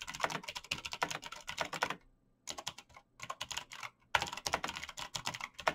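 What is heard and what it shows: Fingertips type fast on a black plastic mechanical keyboard with backlit keys, giving steady, bright clacking taps. Typing runs in quick bursts, with two short pauses around the 2- and 4-second marks.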